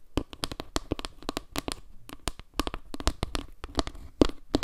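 A flat, round wooden log-slice trivet held in both hands is tapped and scratched with long nails across its surface and edge. The result is a rapid, uneven run of short, dry wooden clicks and knocks with a hollow low-mid body, and light scratchy texture between the taps.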